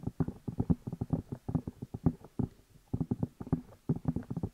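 Fingertips tap and rub the two hollow rubber or silicone ear pieces of a black binaural microphone while the hands cup them. A rapid series of soft, muffled, low thumps comes in bursts with brief pauses between. Each tap is dull and short with no ring, and there is almost no bright content.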